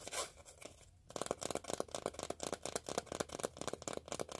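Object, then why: Empty cardboard tape core. An empty, hollow, palm-sized cardboard tube from a used-up roll of duct tape is held up in both hands in front of the face and rubbed and scratched with the fingertips and nails. A soft, airy brushing in the first second gives way to a quick run of dry, crisp scratching strokes. Each stroke has a bright edge and a hollow midrange tone around 550 Hz.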